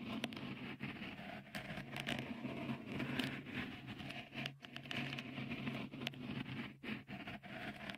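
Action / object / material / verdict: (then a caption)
scrape / textured silicone microphone cover / silicone / none. Fingertips scratch a small, hollow, white dimpled cover, likely silicone, fitted over the right microphone capsule of a Tascam recorder. The result is a dense, continuous patter of rustling scratches with a faint low hum underneath and occasional brief quiet gaps between strokes.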